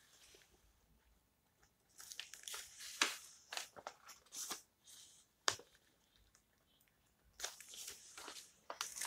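Long nails scratch and tap along the edges of an open old book's yellowed paper pages and rub across the page surface. Bursts of bright, crinkly scratching and a few sharp taps come in clusters, separated by quiet gaps, with no low end.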